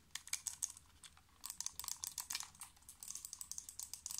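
A small, hollow black plastic computer mouse is tapped quickly with fingernails. The taps come as a rapid, irregular run of crisp, bright clicks with almost no low end, each dying away almost at once.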